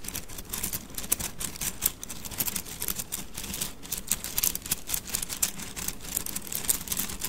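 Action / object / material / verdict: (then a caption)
scrape / bundle of thin wooden sticks / wood / none. A bundle of thin, solid wooden mikado sticks is held horizontally in both hands while the fingers roll and rub the sticks together. This produces a dense, continuous stream of dry, bright clicks and rattles that stop short with no ring, over a faint low rumble.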